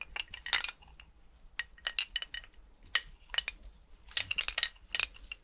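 A skeleton's bones are clinked together in a rapid, irregular series of light, bright clicks. Each contact is a sharp, high-pitched tick that dies away almost instantly, with the hits bunched in quick clusters separated by brief pauses.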